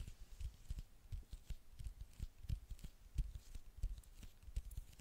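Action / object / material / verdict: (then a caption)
tap / glass smartphone screen / glass / none. Long nails tap the dark glass screen of a small, flat smartphone with a gold frame, held in the hand. The result is a quiet, uneven stream of soft, dull taps with short, dry low thumps and faint bright clicking edges.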